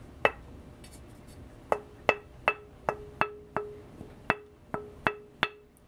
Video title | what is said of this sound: Cocobolo or Leopardwood fingerboards which one ? Tap tones/asthetics | a nice glassy kind of town so it's nice and dense